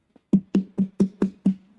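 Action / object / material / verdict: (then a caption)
knock / carving pumpkin / pumpkin flesh / hollow. A hollow carving pumpkin, one being cut open and scooped out and noticeably less dense than a small pie pumpkin, is tapped seven times: a faint first tap, then six evenly spaced, dull knocks. Each knock is short and low with a hollow resonance around 195 Hz and almost no high content, confirming the pumpkin is hollow.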